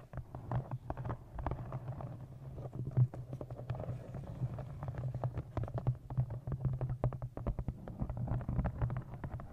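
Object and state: Leather-covered journal.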